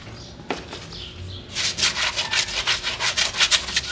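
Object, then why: Rubber off-road tire. A black-gloved hand scrubs the soapy tread and sidewall of a large, muddy rubber UTV tire from a 2018 Can-Am Maverick X3, still on its wheel and standing upright off the vehicle. After a quieter start with a light tap and faint brushing, the brush breaks into fast, bright, hissing back-and-forth scrub strokes at about three per second.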